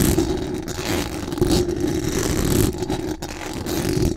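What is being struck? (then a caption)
Metal mesh microphone grille. Very long acrylic nails scratch fast and aggressively across the hollow metal mesh dome grille of a large condenser microphone from above. The result is a dense, continuous rasping scrape with a heavy low rumble and a boomy mid band, and only faint bright hiss on top. A brief dip near the end interrupts the scratching.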